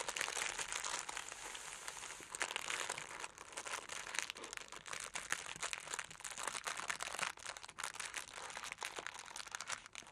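A sheet of orange tissue paper, rolled into a tube on a table with what is likely a crystal wrapped inside, is pressed and squeezed with fingertips and long nails. It gives dense, continuous crinkling that is bright and papery, with almost no low end and many quick crackles. The sound eases slightly at moments before fading softer at the end.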